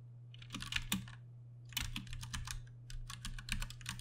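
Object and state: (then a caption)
Plastic mechanical keyboard. Fingertips of both hands type on a compact Ducky One 2 Mini mechanical keyboard with Cherry MX Brown switches and plastic keycaps. Bursts of quick, bright, clacky key strikes come in flurries separated by a short pause, each click dying away almost instantly. A steady low hum runs underneath throughout.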